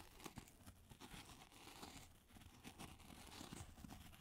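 A solid, hand-sized white polystyrene foam ball is held in both hands and scratched and tapped with long glittery acrylic nails. The result is a quiet, continuous scratchy crinkling with bright, tearing-like textures. Soft, dull taps poke through the scratching.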